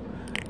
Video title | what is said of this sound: Chevy Cruze Transmission Prob. P0700 Info. Only | when I shake it it's loose